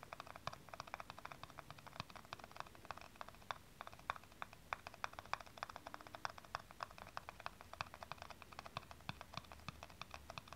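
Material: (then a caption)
Plastic. Long nails tap rapidly on the flat top of a small, hollow blue plastic aerosol cap held top-up. The result is a fast, steady stream of short, dry clicks centered around 1.1 kHz with bright edges. Each click dies away almost instantly over a faint low hum.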